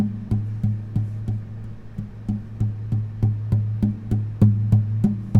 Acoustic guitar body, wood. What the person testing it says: pay attention to the echoing and the vibration of the guitar